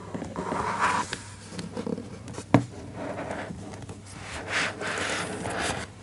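Fingertips trace and rub over the laminated cardboard cover of a closed, large children's hardcover book lying on a desk, and the book is slightly rotated. Soft, breathy scraping and rubbing swells and fades throughout, broken by one sharp, brief knock near the middle.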